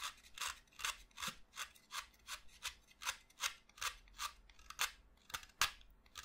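A yellow-handled utility knife shaves a solid pastel green chalk stick along its length, held over a heap of chalk dust. About 15 dry, bright scraping strokes follow one another at an uneven pace, each a short rasp that stops quickly with little low end.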